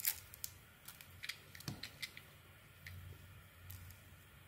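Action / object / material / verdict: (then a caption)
scrape / bar of soap cut with a blade / soap / none. A solid, round, pink-beige bar of soap is held in the hand and peeled and shaved with a utility knife blade into long cream-colored curls. Soft, bright, crisp scraping clicks come in a quick, uneven series over a low, quiet background hum, each one short with almost no ring.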